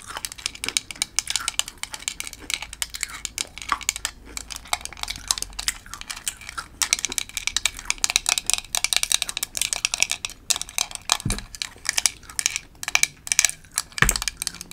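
Long pointed light-blue acrylic nails tap and scratch across a large broken piece of thin, flat, hard, brittle amber dalgona (caramelized sugar) candy held in the hands over a patterned paper background. The result is a dense stream of rapid, bright, dry clicks and scratchy ticks that die away almost instantly, with a couple of duller low knocks near the end.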